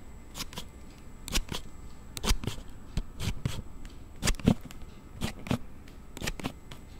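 A hard plastic sliding case on a handheld Note7 phone has its back panel pushed open and closed by thumb. This makes a series of sharp, dry, scissor-like clicks at an irregular pace. Each click is brief and bright with almost no ring, over a quiet background.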